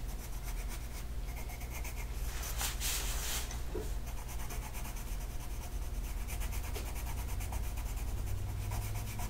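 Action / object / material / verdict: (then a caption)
scrape / colored pencil on a paper coloring sheet / paper / none. A green colored pencil makes scratchy shading strokes across a flat paper mandala coloring sheet. The rubbing scratch continues steadily over a constant low hum, with brighter, louder strokes in the middle.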